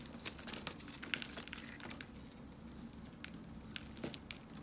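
A box cutter blade shaves a dark, solid soap bar held in the hand, sending off crunchy crumbles. Quiet, bright crackling and crisp snaps pile up in a dense, irregular run over a faint, steady low hum.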